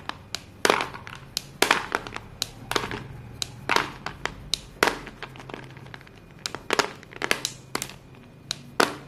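Dusty hands grab and squeeze handfuls from a heap of small solid white chalk sticks, crushing and rubbing the pieces together. Repeated sharp, bright crunches and gritty crackles come in quick bursts, each fading fast into a soft grinding rustle over a quiet low hum.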